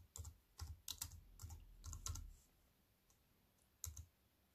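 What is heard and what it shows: Fingertips with white-painted nails type on a slim wireless keyboard with black plastic keys in a grey metal-look frame, which lies on a wooden table. Soft, quick clicking taps with a bright edge and a dull low thump come in an uneven run over about two seconds. After a quiet pause, one last short cluster of taps follows.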